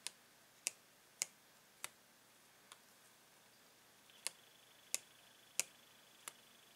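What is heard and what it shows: A metal pen taps a clear, hollow plastic blister pack of paint pens while a gloved hand holds the card. Nine short, bright plastic clicks sound at irregular intervals, each dying away almost instantly, with a faint high hiss in the background.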